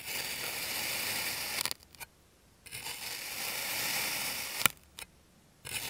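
A clear plastic serrated knife slices through a small, solid, rose-shaped mold of purple kinetic sand. Two long, bright, gritty scraping passes are heard, each ending in sharp little clicks before brief quiet gaps.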